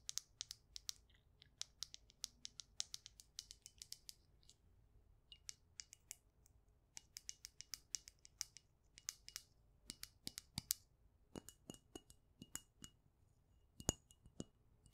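Long acrylic nails tap and scratch a small dark glass perfume bottle with a gold metal cap, held in the hand, and tap the cap as well. Dozens of quick, bright, dry clicks come in uneven bursts, with a faint high glassy ping and soft scratching between them. Each tap stops almost at once, with little low end.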